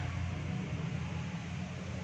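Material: Nothing is struck.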